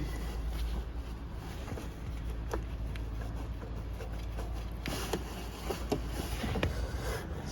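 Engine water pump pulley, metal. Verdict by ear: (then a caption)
Loose. With the belt off, the metal water pump pulley on a Toyota RAV4 engine is shaken by hand, giving short, dull metallic rattles and knocks over a low rumble. The pump has bearing play and is the cause of the engine rattle, so it needs replacing.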